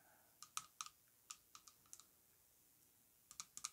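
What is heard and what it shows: Long acrylic nails tap a tall, orange-coated glass perfume bottle with gold metal rings, filled with perfume and lying on a rug, striking both its body and the gold band. The taps are sharp, bright clicks with a faint glassy ping around 1.3 kHz, each dying away almost instantly. They come in short, irregular bursts separated by a quiet pause.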